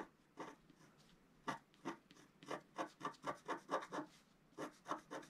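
A wooden stylus scratches long strokes across a flat scratch art sheet, black coating on paper, near its bottom edge. Each stroke is a short, dry rasping scrape, quiet and mid-pitched with a brittle edge. The strokes come in irregular bursts, faster and denser in the middle, with brief silent gaps between them.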